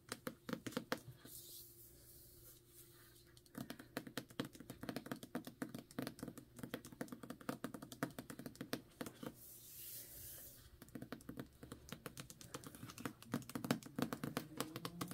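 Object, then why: Hardcover book with paper dust jacket. A solid *Ninth House* hardcover with a paper dust jacket, held in hand, is tapped quickly with long nails on the jacket. The result is a rapid run of short, dry, papery clicks with a low-mid body, pausing briefly twice before resuming.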